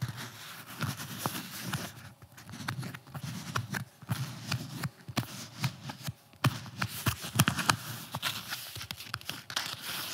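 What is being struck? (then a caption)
Flexible armor plate with nylon fabric cover. A blue, nylon-covered flexible armor plate, torso-sized and solid, is held upright while fingernails scratch and tap across its fabric cover. Soft, dry scratching runs throughout, broken by many short, crisp taps with a low, dull body and a bright fabric rasp, each dying away almost instantly.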